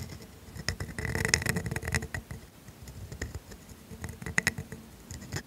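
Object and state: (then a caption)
Steel dip pen nib scratching on grid paper. A steel pointed dip pen nib in a black holder scratches cursive letters onto thin grid paper. The sound is soft, dry scratching with quick bright ticks and a faint squeak near 2 kHz as the nib drags through each stroke, swelling in a busier stretch early on, then settling into lighter scratches with a few sharper flicks.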